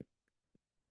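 Two short, dull taps of chest percussion directly on a rib bone of the front chest wall give a low, solid, muffled thud with almost no ring. The dull note is the expected finding over bone, unlike the resonant sound between the ribs.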